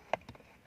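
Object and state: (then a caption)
Plastic lower dashboard panel. Taps on the plastic lower dashboard panel near the steering column of a 2018 Proton Iriz Standard Spec give short, dry knocks with a hollow mid-range tone around 650 Hz that die away almost at once. Three taps are heard, the first the loudest. Unlike the Saga, which has rubberized material there, this panel is plain plastic.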